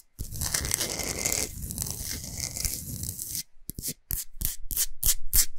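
Nails and fingers rub and scratch across the surface of a large, flat, solid pink Himalayan salt block. A continuous, gritty scratching with a bright, hissy edge runs for about three seconds, breaks off briefly, then returns as a run of quick, sharp back-and-forth strokes.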